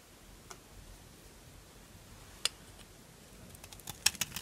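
A solid orange Duru bar of dry soap, held in the hand, is scraped with a small knife that shaves off dry flakes. Faint scratching runs under a few sharp, bright, crisp clicks. The bursts cluster toward the end of the clip.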